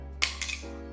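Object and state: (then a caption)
Resin-coated plaster piece intact after a drop. A plaster piece coated with resin to harden it is dropped from one meter and lands with a sharp, bright crack, followed by a second, softer hit and a brief clatter over a low steady hum. The piece holds up without breaking, surviving three such drops.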